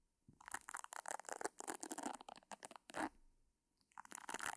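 Long nails scratch the round, nubbed pad of a pink silicone facial cleansing brush held beside the mic without touching it. The result is quick, dry, crunchy scratching bursts with bright edges, a brief pause near the end, then a final flurry of scratches.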